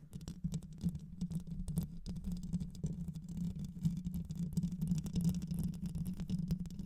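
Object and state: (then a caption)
Metal mesh microphone grille. Long white nails scratch and tap the rounded metal mesh grille of a black microphone with a hollow head. The result is a dense, continuous run of rapid scratchy patter and soft taps, heavy in low, rumbling tones with a steady low hum underneath and occasional brief bright crackles.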